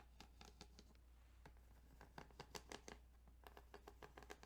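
Fingertips tap and scratch across the ridged plastic of a Tetris Game Boy cartridge, making quick, dry clicks and brushing scratches. A steady low hum runs underneath the soft, close taps.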